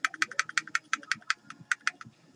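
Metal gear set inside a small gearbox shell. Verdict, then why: Loose. A partly assembled Echo1 M14RIS airsoft gearbox with its metal gear set inside is shaken in a shake test, producing a rapid series of about 16 sharp, dry clicks and rattles as the loosely shimmed gears knock around. The result is okay but not good: the gears have too much play because of the shimming.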